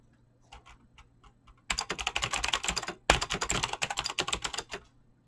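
Fingertips fast-type on a mechanical keyboard with clicky green switches and PBT plastic keycaps. A few soft, sparse keystrokes give way to a rapid run of sharp, bright clicks, which pause briefly and then resume at the same quick pace before fading out.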